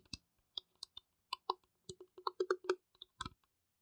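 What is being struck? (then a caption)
Small plastic piggy bank. Fingertips and nails tap on the top and sides of a small, hollow, empty, transparent blue plastic piggy bank resting on a mat. It makes a quiet series of short, irregular clicks and taps, each with a light hollow tone around 370 Hz, a bright nail tick, and almost no ring.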